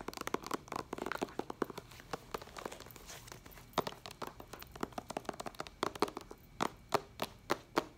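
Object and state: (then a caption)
Plastic binder cover. Long acrylic nails tap and scratch on the clear plastic cover sleeve of a white ring binder held upright. A busy run of light, crinkly clicks and scratches comes first, then gives way to sparser, sharper taps with a bright plastic click and almost no ring.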